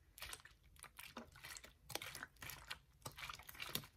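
A hollow, clear ridged plastic water bottle is held in one hand while the fingers squeeze, crinkle and scratch the plastic as it is moved. The result is a quiet, uneven series of bright, crackling crinkles and short scratchy bursts with little low end.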